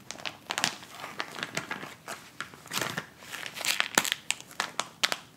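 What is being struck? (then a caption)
Plastic instant cold pack pouch. A white plastic instant cold pack pouch is folded and handled while fingers crinkle and scratch it. The result is a fast, bright run of sharp crinkling crackles and scratches, with little low end and quick, brief peaks.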